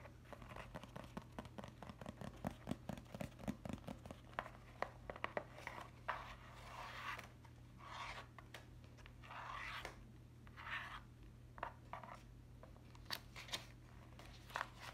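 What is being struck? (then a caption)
Paper notebook with lined pages. Long acrylic nails scratch, rub and flick across the lined paper pages of a small hardcover notebook held open in the hands. Quick crisp ticks and scratchy rubs alternate with longer soft swishing scrapes over a steady low hum.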